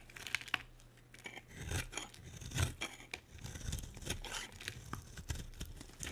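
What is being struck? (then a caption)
Bar soap shaved with a blade. A solid pink oval bar of soap held in the hand is shaved with a utility knife blade, scraping off curls and flakes. The blade makes short, crisp scraping and tearing sounds that come in quick uneven strokes, with bright edges over a soft low rumble.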